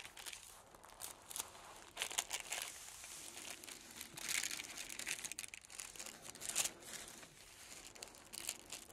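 A large flat sheet of green tissue paper is lifted and smoothed by fingertips, making soft, bright crinkling and rustling. Metal scissors then start a new cut through the sheet, adding crisp snipping among the crinkles. The sound stays quiet and high-pitched, with almost no low end.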